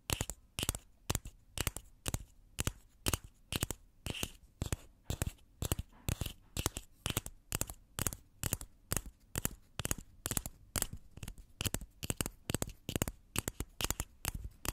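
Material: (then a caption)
Plastic. A small, hollow purple plastic egg toy with a clear plastic dome top is held in one hand while long nails tap and scratch across the clear dome. The result is a fast, uneven stream of sharp, dry plastic clicks and short scrapes with bright highs and a low body, each one stopping almost instantly.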